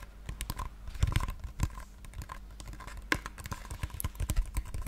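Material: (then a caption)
Cardboard. A small, hollow pink cardboard box held in both hands is tapped with long painted nails. The result is a rapid, uneven run of light, crisp clicks and hollow taps that die away almost instantly, with a soft, low body under brief bright edges. A few taps stand out louder than the rest.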